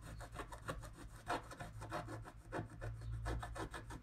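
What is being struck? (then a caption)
Wax-coated scratch-art paper card scraped with a wooden stylus. A wooden stylus scrapes the coating of a flat scratch-art card (wax-coated paper) in long strokes along the trunk. The result is a run of dry, rasping scrapes that rise and fall in quick bursts over a steady low hum, with little brightness and almost no ring after each stroke.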